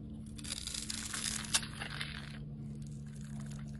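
A metal utility blade scrapes and cuts into the scored surface of a solid, palm-sized red oval soap bar, making dense, crisp, bright crunching and shaving sounds with a sharp snap near the middle. The carving noise fades after about two and a half seconds to softer scratching, over a steady low hum throughout.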